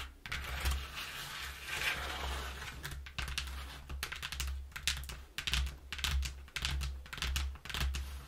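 Long nails and fingertips scratch and tap the inner surface of an opened, flattened brown corrugated cardboard box, thin and hollow, lying on a wooden floor. Dry, bright scratching runs in bursts, broken up by quick, hollow taps. A steady low hum sits underneath throughout.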